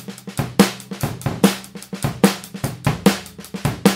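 A Mapex 14x5 inch maple snare drum, with a hollow wooden shell and a coated plastic head, is played with wooden drumsticks in a pattern of taps and rolls. Loud accented strokes land about every 0.8 seconds, with quieter taps between them. Each hit gives a short, crisp crack with a low tone near 195 Hz and dies away quickly.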